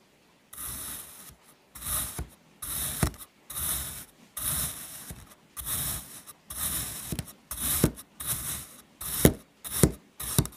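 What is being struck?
Kinetic sand block cut with a metal knife.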